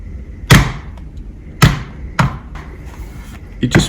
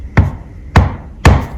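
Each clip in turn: First: Four short clacks of a metal laptop on a table, dry and slightly tinny, sounding cheap. Second: Three dull, low knocks on a laptop chassis, each dying quickly, a firm, solid-sounding shell.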